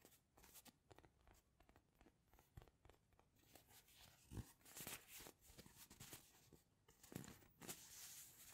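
Fingernails scratch and tap the surface of a palm-sized soft polyurethane foam narwhal squishy toy. The result is a quiet stream of dry, crackly scratching with bright, rustly bursts and soft, muffled taps that stop short with no ring. It grows busier and a little louder in the second half.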